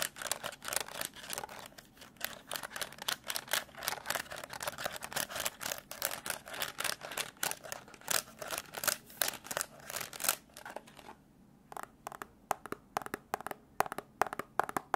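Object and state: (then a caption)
Plastic desk calculator tapped and scratched. A black plastic desk calculator, held close, has its keys and the side of its hollow case tapped and scratched with fingertips and nails. It makes a rapid run of dry, bright clicks and scrapes with almost no low end and no ring, pausing briefly near the 11-second mark before sparser taps resume.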